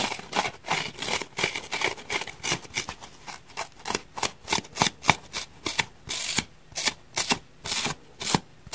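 Fingernails scrape and rub across the torn surface of a solid, deeply scratched grey foam block. The result is a rapid series of short, dry, bright scratching bursts, mostly high and hissy with little low end. The bursts come in an uneven rhythm, with brief quiet gaps between the later strokes.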